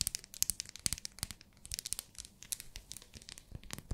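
Long nails tap and scratch a small, solid pink glycerin soap bar in its plastic wrapper. A quick, irregular run of sharp, bright clicks and crinkly scratches plays, each dying away at once, with a faint low thump under the stronger taps.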